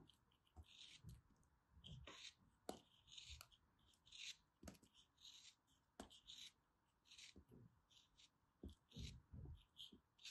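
A small black blade slices through an orange block of solid kinetic sand held in the fingers. The cuts make soft, dry, gritty scraping and crumbling sounds in short bursts, with faint low thumps, all at a quiet level.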